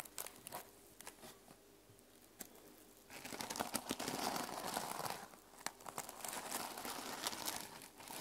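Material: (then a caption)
Plastic sequins. Nails and fingertips brush and scratch the plastic sequin cover of a closed sequin-covered notebook resting on a table. The first three seconds hold quiet, scattered clicks and light scratches. Then a denser, louder stretch of rustling, crinkly scratching follows, with sharp ticks mixed in and a bright, papery texture.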